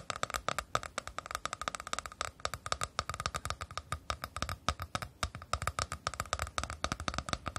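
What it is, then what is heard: Plastic scalp brush, tapped and scratched. A hand-sized, hollow plastic scalp massager brush, shaped like a flower with a round center and plastic bristles underneath, is tapped and scratched with long nails and fingertips. The result is a rapid, steady stream of short, dry clicks and taps with a faint hollow ring near 1.3 kHz.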